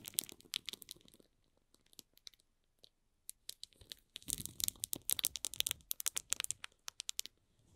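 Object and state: Shrink-wrapped cardboard box.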